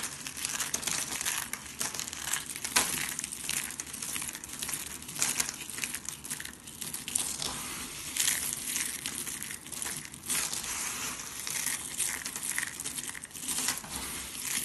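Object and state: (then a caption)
Dry soap shavings crunched by hand. Bare hands and fingertips scoop, squeeze and rub a pile of small, hard, brittle flakes of dry pink, green and blue soap on a textured surface, crunching and crumbling them. The sound is a steady, dense, bright crackling crunch with many small sharp snaps and almost no low end, swelling in brief louder bursts as the flakes are squeezed.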